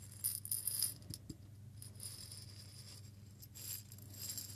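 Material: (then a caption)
Glass. A small clear glass jar holding a little loose content of small seeds is held in both hands, shaken and tilted so the seeds rattle inside. Quiet, bright, crisp rattling comes in bursts over a steady low hum, loudest near the start and swelling again toward the end.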